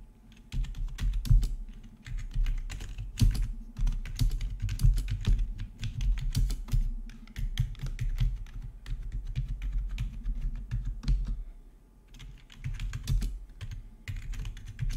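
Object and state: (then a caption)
Plastic membrane keyboard being typed on. A full-size black plastic RGB membrane gaming keyboard with rainbow backlit keycaps, resting on a marble surface, is typed on with the fingertips of both hands. A steady stream of soft, muffled key presses with deep low thumps and light clicks comes in bursts, with brief quiet gaps between them.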